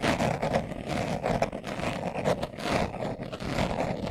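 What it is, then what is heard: Leather glasses case being scratched. Fingernails scratch quickly over the pebbled surface of a small, hollow brown leather glasses case held in the hands. The result is a steady, dense scratching rasp with a midrange hollow tone and brief, uneven bursts of texture throughout.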